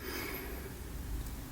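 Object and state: Nothing is struck.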